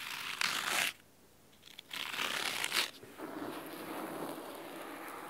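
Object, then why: Cloth-covered hardcover book. Fingernails scratch the cloth spine of a large, thick, solid red fabric-covered hardcover book, then move to its top edge. Bright, crisp scratching comes in dense bursts separated by near-silent gaps, then settles into a steadier, softer rasp.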